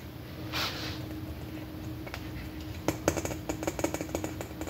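A large, red, hollow plastic container shaped like an M&M is held up and tapped with fingernails and fingertips. After a soft brushing sound and a quiet stretch, a quick run of light, sharp clicky taps starts and then stops. A faint steady hum runs underneath the whole time.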